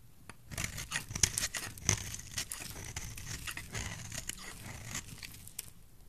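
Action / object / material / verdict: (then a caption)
scrape / bar of soap cut with a blade / soap / none. A utility knife blade shaves and scrapes strips off the face of a solid, dry yellow bar of soap held in the palm. Quick, crisp scrapes and crackly tearing sounds come in an irregular run, bright and dry with very little ring. Soft thumpy lows sit underneath.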